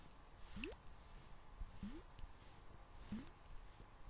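A small clear glass bottle, partly filled with water, is tilted and tapped with fingernails while the water moves inside. Quiet, sharp, high-pitched glassy clicks ring briefly over three rising, gurgling sweeps of sloshing water.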